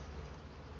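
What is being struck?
Nothing is struck.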